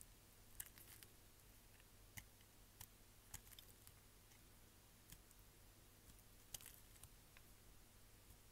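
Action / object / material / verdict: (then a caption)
scrape / glycerin soap bar cut with a blade / glycerin soap / none. A hand-sized, solid green-and-white striped bar of dry glycerin soap, held in one hand, is shaved into chips with a utility knife blade in short, repeated scraping cuts. Quiet, crisp, bright clicks and crackles are scattered over a steady low hum, each snapping off almost instantly.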